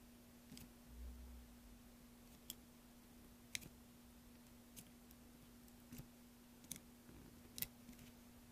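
A thin metal blade held in the fingers is drawn along a large, solid block of green soap resting on a dark surface, scraping and carving it while loose soap chips lie nearby untouched. Seven short, bright, crisp scraping clicks sound quietly over a faint, steady low hum.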